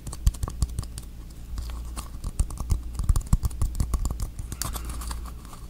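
A small, hollow red plastic screw cap is held in both hands close to the microphone and tapped and scratched with fingertips and nails. Rapid, crisp little taps with a dull, low body and a very short decay patter over a soft scratchy rustle, with a few sharper, brighter clicks.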